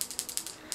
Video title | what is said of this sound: #10 _ MAQUILLAGE simple et facile à réaliser ( + avis sur les produits utilisés ) | il faut le secouer, vous entendez? Il y a une petite bille à l'intérieur